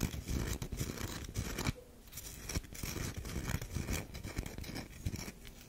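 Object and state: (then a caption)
Bar of soap scratched with nails. A solid tan bar of soap, turned on its edge, is scratched by long nails along its grooved side. The result is a dense run of quick, dry scraping strokes with a low rasp and a fainter bright hiss. The strokes ease briefly near the middle of the clip before picking back up.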